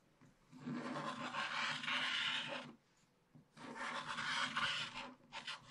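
A wooden stylus scratches the coating away from a black wax-coated paper scratch-art page in a spiral book, exposing the printed picture. Two long, bright, rasping strokes separated by a brief pause are followed by a shorter scrape.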